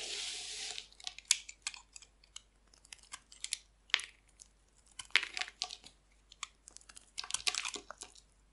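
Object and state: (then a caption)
Dry bar soap being carved. A solid, dry, oval green bar of soap with an embossed logo is held in the hand and scraped and carved with a metal blade, shedding thin flakes. A brief steady scraping hiss opens the clip, followed by a series of short, crisp, bright shaving and crunching strokes with quiet gaps between them. The sound is almost entirely high-pitched, with no low end.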